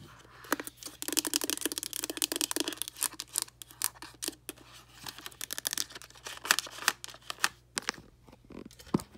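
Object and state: Plastic instant camera, tapped and scratched.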